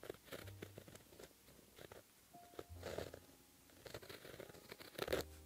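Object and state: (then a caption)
Pen writing on a paper sheet. A white gel pen held in the fingertips writes Korean letters on a flat sheet of black lined paper. The pen tip makes soft scratching and tapping strokes across the paper surface, with short bursts and brief pauses between them.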